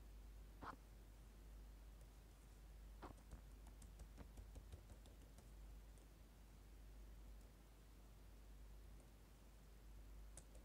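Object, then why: Plastic laptop keyboard. Fingertips with short painted nails tap and type on the plastic keys of a dark laptop keyboard, with a lapel mic lying untouched nearby on the keys. About eight soft, short clicks stand out, most clustered between three and five seconds. A low, steady background hum fills the rest of the quiet clip.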